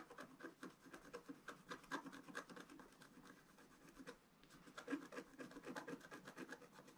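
A pointed wooden stylus scratches a flat, thin, black-coated scratch-art paper sheet that lies on a table and is held flat by one hand. A quick series of short, dry, papery scrapes fades briefly about two-thirds through, then resumes, with most energy in the low-mid range and little deep rumble.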